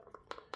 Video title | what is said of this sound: Orpaz T40 large OWB holster review | she's rattling a little bit in there, but it's all right